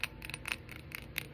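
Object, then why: Textured glass candle holder. Fingernails tap a textured glass candle holder in a quick series of light, bright clicks. The taps are short and high-pitched, with almost no ring after each one.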